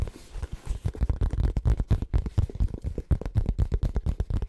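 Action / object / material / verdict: tap / faux leather zip pouch / faux leather / none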